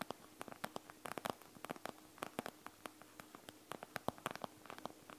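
Long nails scratch continuously across a panda gel bead eye mask, a plastic shell filled with gel beads, lying flat on a table. The result is a quiet, irregular stream of short, sharp, bright clicks and scrapes over a soft hiss and a faint low hum.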